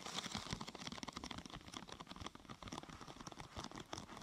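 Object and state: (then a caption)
Thin plastic sheet tapped and scratched with nails. Long nails tap and scratch along the side and top of a thin, glossy purple plastic sheet curved into a hollow half-tube. A quiet, steady run of quick, dry clicks and crinkly scrapes, bright and short with almost no ring.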